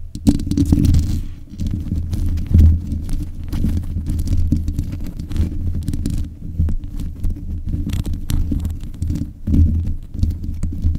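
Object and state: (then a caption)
Metal microphone grille being scratched. Long nails from both hands scratch around the sides of the hollow mesh grille on a black metal desk microphone. The result is a close, continuous low rumbling scrape, dense and muffled, with almost no high content. Brief louder swells rise from it, most clearly near the start, mid-clip and toward the end.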